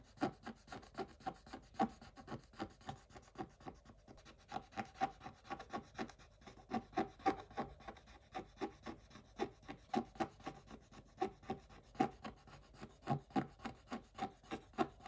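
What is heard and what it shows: A wooden stick scratches across a black-coated scratch-art page in a notebook, flaking off bits of the coating. It makes a quiet, quick and uneven run of short, dry rasping strokes, nearly four per second, with a papery midrange tone and little low end.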